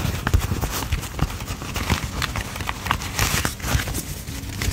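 A thick stack of paper dollar bills is held in both hands while a thumb flips and riffles through the fanned bills. It makes a steady run of soft, dry paper flutters and crinkles, with dull low thumps under brighter rustling snaps.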